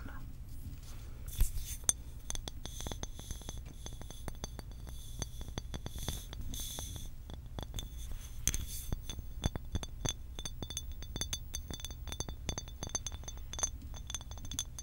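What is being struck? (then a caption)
Glass water bottle. A medium cobalt-blue glass bottle with a printed label and a blue cap, apparently closed, is tapped and clinked with long acrylic nails. Quick, dry taps come in a steady, fast patter, each a short sharp click with a bright glassy tone that dies almost instantly. A low, constant hum sits underneath throughout.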